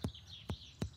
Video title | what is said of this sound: Urgent Hunt For Deadly Paralysis Tick 🪲 - Bondi Vet Full Episodes - Bondi Vet | it sounds a little bit like a drum